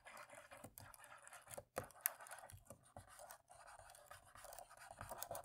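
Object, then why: Plastic laptop keyboard keys. An alcohol-soaked cotton swab, held in the fingertips, rubs and scratches along the dark plastic keys of a dirty laptop keyboard with hollow key caps, working into the gaps between them. The result is a quiet, irregular, continuous scratchy rustle with a bright hiss, broken by a few soft, sharp ticks and brief pauses.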